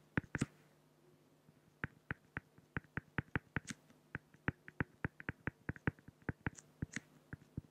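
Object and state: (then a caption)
Acrylic sheet being drawn on. A pen makes hatching strokes on a flat, solid acrylic glass (plexiglass) sheet, producing 29 short, dry ticks with almost no ring over a faint steady low hum. A quick cluster of strokes comes first, then a brief pause, then an even, rhythmic run of taps, with a few brighter scratchy strokes mixed in.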